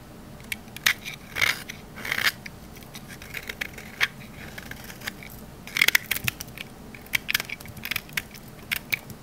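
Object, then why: Olive oil bar soap cut with a knife. A thin slab of solid green olive-oil bar soap, held in the hand, is cut and scraped with a metal utility knife blade and cracks into pieces. Crisp, bright crunching cracks and short scraping bursts come in irregular clusters over a faint steady hiss. Each snap is sharp and dies away almost at once.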